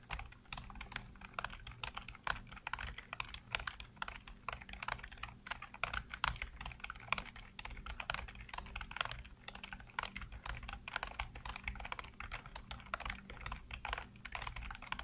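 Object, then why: Plastic computer keyboard. Fingertips rapidly tap and type on a full-size black plastic computer keyboard with hollow keycaps. The result is a dense, continuous stream of short, sharp, bright plastic clicks with no ringing, over a steady low hum.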